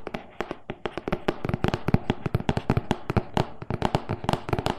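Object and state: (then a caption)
Cardboard box tapped with fingernails. Fingernails of both hands tap quickly on the front face of a closed, printed cardboard loaf pan box, medium-sized and hollow. There are 29 sharp, dry taps in an uneven rapid stream, each with a low hollow thump that dies away almost at once.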